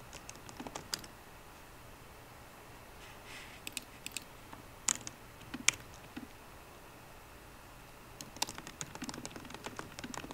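Fingertips of both hands type on a 13-inch MacBook Pro keyboard with plastic keys set in an aluminum body. Short, dry, bright key clicks come in scattered bursts, with quiet gaps between them over a faint steady hiss. Each tap dies away almost instantly.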